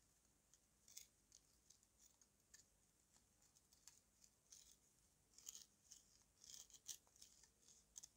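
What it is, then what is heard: Dried red mud chunk, dry. A yellow-handled knife carves and scrapes the edge of a solid chunk of dried red mud held in the hand, with dust falling away. The result is a quiet series of short, crisp, bright scratching ticks with almost no low end, growing denser and louder toward the end.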